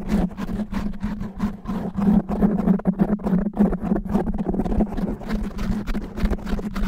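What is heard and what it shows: Fingernails on both hands scratch fast and roughly across a black foam microphone windscreen. The result is a dense, continuous, muffled rustling with a heavy low rumble and a steady hum underneath, in quick, uneven strokes.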